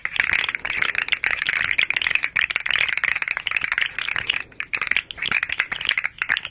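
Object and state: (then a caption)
Plastic articulated slug fidget toy. A small, hollow, rainbow-striped plastic slug fidget toy with hard segments is held curled and tapped and scratched with long nails while it flexes. Its segments give a fast, continuous stream of dry, bright clicks and rattles centred near 2.3 kHz, with almost no low end and only a few brief pauses.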